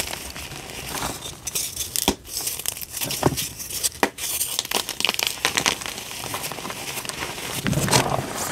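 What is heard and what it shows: Pink dyed gym chalk chunks and powder in a tray are squeezed and crumbled by both hands, with fingers and nails crushing and rubbing the pieces. The result is a steady run of dry, bright crinkling and crackling crunches with many short snaps and a soft powdery hiss between them.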